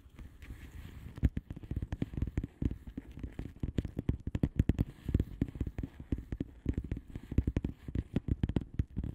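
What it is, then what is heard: Plastic bubble wrap envelope. Long polished nails rapidly tap and scratch the bubbles of a flat blue plastic bubble-wrap envelope with both hands. A dense, uneven stream of short, dull, low thumps is heard, mixed with faint scratchy rustling. Each tap dies away almost instantly, and there is no bright ring.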